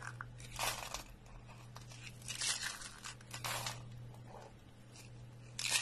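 Hollow rolled coils of thin, dry, pale green soap are crushed in one hand, giving bright, dry crunches and crackles in irregular bursts. The flakes crumble apart, and a low steady hum sits underneath.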